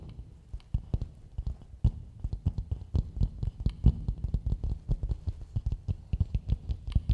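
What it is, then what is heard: Coconut shell bowl. Fingertips and long nails tap and scratch the outer dome of a medium, hollow, empty coconut shell bowl held upside down. A steady stream of quick, soft, hollow taps with a deep, low thud dies away almost instantly, while faint scratchy ticks sit on top.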